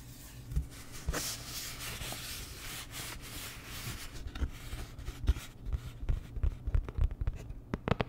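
A flat, postcard-sized printed cardboard Dior packaging card is rubbed and scratched with fingertips and long nails. A soft, breathy scraping fills the first half. It then gives way to a run of short, dry nail clicks and scratches over a steady low hum.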